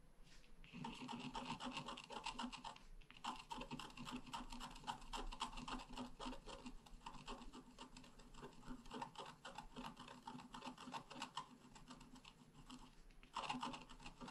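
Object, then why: Coated paper scratch art card scraped with a wooden stylus. A wooden stylus held in the fingers scratches lines into the flower motifs on a thin, solid, flat black-coated scratch art paper card lying on a table. Quick, uneven rasping strokes run almost continuously, with brief pauses near the start, around three seconds, and just before the end. The result is a dry, papery scraping with a bright edge.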